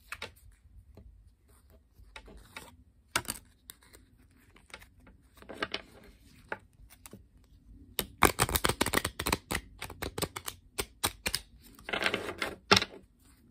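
A standard paper playing card deck is held in the hands while the cards are flicked and overhand-shuffled with the fingertips and long painted nails. Scattered crisp, bright paper clicks start things off, then a dense burst of rapid flicks and riffling follows in the second half. A short rustling shuffle comes near the end before a few final sharp clicks.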